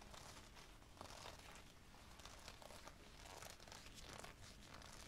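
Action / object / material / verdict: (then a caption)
scrape / leather jacket collar / leather / none. Fingertips of both hands crumple and rub the collar of a worn black leather jacket near the neck, producing a steady, quiet crinkling of leather. Soft bursts of bright rustle rise and fall over a low, continuous rumble.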